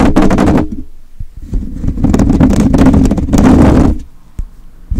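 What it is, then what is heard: Metal mesh microphone grille being scratched. Fingertips and short nails of both hands scratch the rounded metal wire-mesh grille of a hollow, empty handheld-style microphone. The result is loud, dense bursts of rough, boomy rasping with a strong low rumble, separated by quieter gaps of lighter scraping and a single sharp tap near the end.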